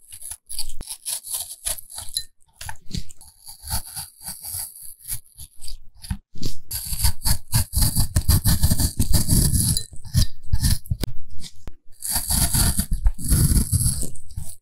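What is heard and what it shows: A small carving knife scrapes and cuts shallow strokes into the skin and flesh of a whole, solid, fresh red-green apple held in black-gloved hands, carving a character portrait. It makes a steady run of crisp, crunchy shaving sounds with a low thud beneath bright, hissy scraping, growing denser and louder in the second half with brief pauses between bursts.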